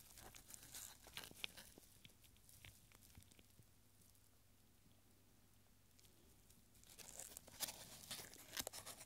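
A long, thin, yellowed paper strip printed with numbers is held taut and then rolled back into a small tube by gloved fingers. Bright, crisp crinkling and dry crackles come in dense bursts at the start and end, with a quieter stretch of faint rustling in the middle.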